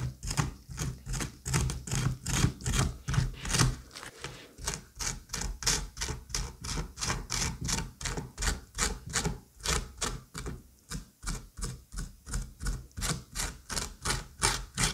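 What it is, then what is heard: Pumpkin flesh being scraped. A curette scrapes the inner flesh from the cavity of a hollowed squash half in quick, repeated strokes, almost three per second. Each stroke gives a bright, rasping scrape over a soft low thud.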